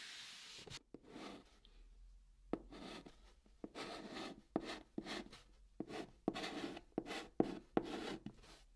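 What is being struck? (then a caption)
Chalk stick on cardboard box. Fingertips hold a white chalk stick and write Korean letters on the surface of a large, flat, brown, hollow cardboard box. About seventeen short, dry scratching strokes come in an uneven rhythm, each with a sharp start, a midrange body and a bright hiss. Quiet pauses fall between the strokes, and there is almost no ring.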